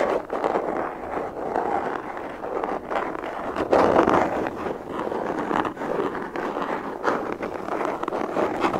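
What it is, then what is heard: Hard plastic gun case being tapped and scratched. Long fingernails tap and scratch a hollow, black molded hard plastic pistol case held up close to the microphone. A steady stream of dry, hollow clicks and scratchy rasps stays in the midrange, with a louder burst of scratching partway through.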